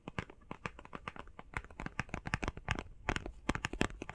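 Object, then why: Face mask box of plastic and cardboard. Fingers tap quickly on a face mask box made of plastic and cardboard, giving about 26 short, dry, crisp clicks in an uneven rhythm. Each tap is broadband and bright with a papery crinkle and dies out almost instantly.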